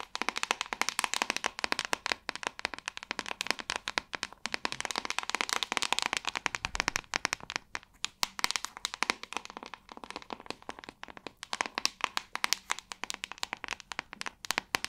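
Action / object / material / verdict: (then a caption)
tap / plastic paddle hairbrush back / plastic / none. Long acrylic nails tap and scratch the back of a hand-sized, hollow-backed white plastic paddle hairbrush. The result is a fast, continuous stream of crisp, bright clicks and scratchy bursts that stop dead with no ring, with almost no low end, for about 15 seconds.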